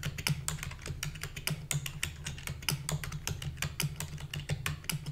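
Rapid typing with long fingernails and fingertips on a full-size black plastic keyboard with a hollow body. Quick, short clicks and bright taps come in a steady stream over a low, hollow thud around 145 Hz, each stroke dying away almost at once.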